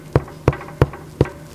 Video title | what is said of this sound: ХЛЕБ на ЗАКВАСКЕ! Секретная формула. САМЫЙ ЛУЧШИЙ РЕЦЕПТ В ИНТЕРНЕТЕ! | Se este for o som como vazio, sim, então significa que seu pão está pronto.